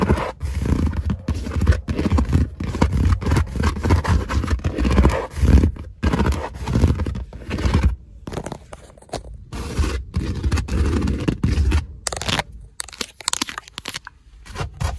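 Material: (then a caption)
Leather. Fingertips and nails scratch and tap quickly across the ribbed panels on the back of a black stitched leather car seat, likely faux leather, with padding underneath. The sound is a dense, fast stream of low, muffled rubbing and thumping scrapes. It thins out in the second half, leaving sparser, quieter taps.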